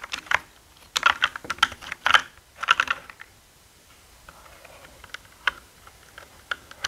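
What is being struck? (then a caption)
Mechanical keyboard with plastic keycaps. Fingertips type on the plastic keycaps of a black mechanical gaming keyboard, producing quick bursts of sharp, bright clacks. Dense clusters of keystrokes come in the first three seconds, then scattered quieter taps follow over a low hush. Each click is dry and short, with almost no low end.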